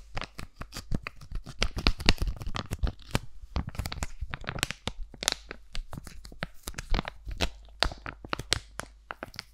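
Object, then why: Laminated foil-plastic pouch. Long nails scratch and tap the face of a sealed, flat, laminated foil-plastic sheet mask pouch, crinkling it slightly. The result is a dense, irregular stream of sharp, dry crackles, clicks and crinkles with bright, papery edges that stop almost instantly. A faint steady low hum sits underneath.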